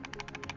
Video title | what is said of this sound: Coby True wireless earbuds (don't buy these ever) | that's the earbuds shaking inside